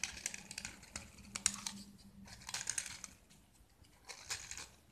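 A small, solid white gypsum block with a blue-and-yellow painted surface is held in the hand and shaved and scraped with a metal utility knife blade, peeling off curls of plaster. Quiet, dry, bright scratching strokes come in quick bursts and clusters, each ending abruptly with no ring. There is a faint low hum underneath.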